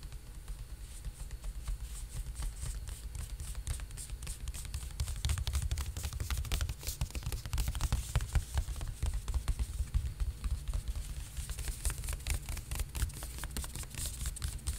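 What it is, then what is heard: Rolled woven plastic beach mat. Fingertips tap and rub along a long, rolled-up blue and white striped woven plastic beach mat held horizontally close in front of a microphone. A dense, uneven patter of quick, dry taps and scratchy rubbing gives bright crackle and clicks over a steady low rumble, growing busier and louder through the middle of the clip.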